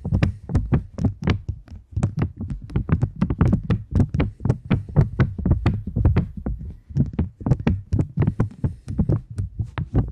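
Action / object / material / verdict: tap / polymer banknote / polymer / none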